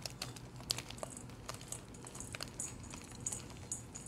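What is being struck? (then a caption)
Blocks of gym chalk in a metal bowl. Bare fingertips with short painted nails squeeze, crush and crumble broken blocks of dyed blue gym chalk, solid and powdery, heaped in a metal bowl, and the crumbs fall back onto the pile. Quiet, dry crackling and gritty crunches come in quick, bright snaps over a soft low background rumble, each crack dying away almost at once.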